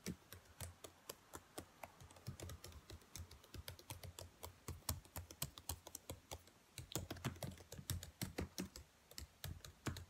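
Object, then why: Plastic laptop keyboard keys. Long white nails tap and type rapidly on the black plastic keys of a laptop keyboard, with both hands briefly resting on it. Dozens of sharp, bright plastic clicks come in quick, uneven bursts over a steady low hum, with a short pause near the middle before the tapping picks up again.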